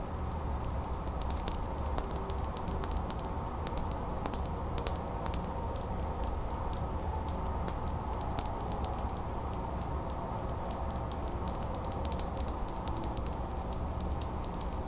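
Long fingernails tap and scratch a small solid metal skeleton key with a twine tag, held in one hand. A fast, steady stream of light, bright clicks and ticks runs throughout over a constant low background hum.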